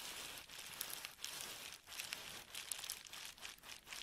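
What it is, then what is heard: Plastic bubble wrap being crinkled. An empty sheet of clear plastic bubble wrap is held in the hands and squeezed, crinkled and rubbed with the fingers. It makes a dense, bright crinkling hiss with sharp little crackles, rising and falling in short waves with no low end.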